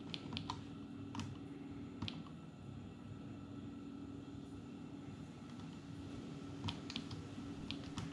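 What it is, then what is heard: Plastic palmtop computer keyboard being typed on. Fingertips tap and press the grey plastic keys of a small dark grey plastic clamshell palmtop computer, an Atari Portfolio, open on a wooden table, in a typing action. Sparse, short, crisp key clicks come in small clusters over a steady low background hum.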